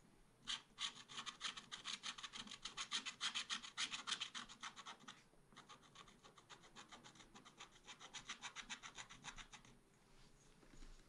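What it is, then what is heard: Scratch art paper being scraped. A wooden stylus scrapes rapid, repeated strokes across a black-coated scratch art paper page in a small spiral pad. It makes a dry, bright scratching that runs in a louder burst, pauses briefly around five seconds, then continues more softly before fading out near the end.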